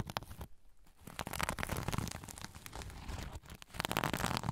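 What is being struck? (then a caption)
Sequin-covered zipper pouch. A soft zipper pouch covered in sequins is held over a recorder while fingernails scratch across the sequins. The result is a dense, crackly scratching and rustling texture with a heavy low rumble, a brief quieter gap near the start, and louder bursts toward the end.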